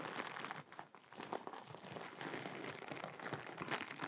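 A hand-sized blue sparkly glittery mesh scrub sponge is scratched and crinkled with long acrylic nails. The result is a dense, continuous crinkling and scratching, bright and crackly, with a brief quieter dip near the start.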